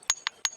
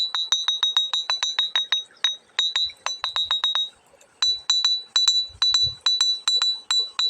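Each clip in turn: First: ordinary flat stone, dull tap. Second: ringing iron-bearing river stone.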